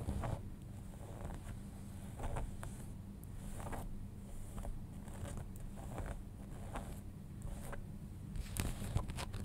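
Fingernails scratch the back pocket and seams of folded denim jeans, shown from the back with a pocket and paper label. Repeated short, dry rasping strokes come in bursts with bright, hissy edges over a steady low hum.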